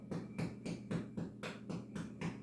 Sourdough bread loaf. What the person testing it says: These have to sound dry and hollow. Just as if you were knocking on somebody's door.